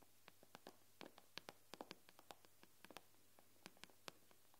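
Long manicured nails on both hands tap rapidly on the black glass touchscreen of a large, flat, thin iPad lying on a wooden table. About 19 quiet, sharp, bright clicks come at an uneven pace, each stopping dead with no ring, over a faint steady low hum.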